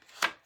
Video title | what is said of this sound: Art Journal Page using a Napkin & Chalk Couture transfer. Chalk Journaling. | i want them to be thick and sturdy can you hear that it sounds like cardboard